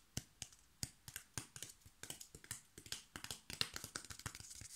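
A brown corrugated cardboard strip, its fluted edge visible, is tapped and scratched along its face and edge by fingertips and nails. It makes a quick, quiet run of dry, bright taps with papery scratching between them, speeding into a dense flurry. Each tap stops almost instantly with no ring.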